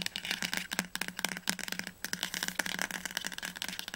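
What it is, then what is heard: Hardcover book spine. Fingertips and nails tap fast on the glossy spine of a teal hardcover novel, "Das Labyrinth erwacht", held upright. The result is a rapid, uneven series of crisp, bright clicks that die away almost instantly, with a pause near the two-second mark. The book sounds solid.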